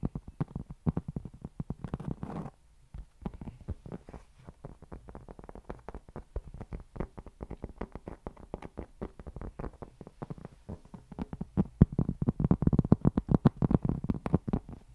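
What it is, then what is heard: Cork board. A solid, round, flat cork board held in both hands is scratched and tapped with fingertips and nails, producing a fast, uneven stream of dull, short clicks and soft scratches. The sound is mostly low and muffled with almost no ring, with a brief brushing smear near the start. The tapping grows louder and denser toward the end.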